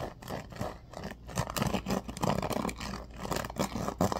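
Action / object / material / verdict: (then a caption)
scrape / bamboo paddle hairbrush with pin bristles / bamboo / none. A bamboo paddle hairbrush is held upright while fingertips run along and scratch its pin bristles. The result is a continuous, dry scratching and rasping texture that swells and fades in uneven bursts, with most of its weight in the low and mid range and little high brightness.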